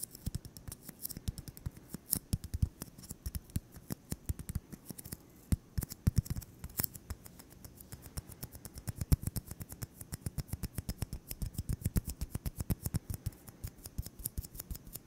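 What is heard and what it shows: A solid white styrofoam ball about 8 cm across is held in one hand and tapped rapidly with the fingertips. The result is a steady stream of short, dull, low thuds, with faint bright ticks layered over them.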